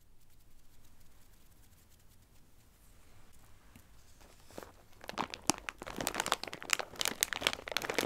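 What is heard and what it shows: Fingertips with long red nails press, rub and scratch a clear plastic bag full of dry tricolore Christmas-shaped pasta with a cardboard header, resting on a dark tray. Faint, soft rustling for the first four seconds gives way to louder, bright crinkling and crisp crunches in a quick, irregular series toward the end.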